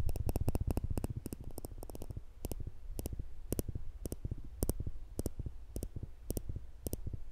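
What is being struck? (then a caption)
Steel tweezers. Small, slender steel tweezers held at the fingertips just above a black microphone have their thin, solid metal tips pinched together again and again. The result is a long series of short, dry clicks, often in quick pairs or bursts. Each click is brief, with a bright tick over a soft low thump, and dies away almost instantly.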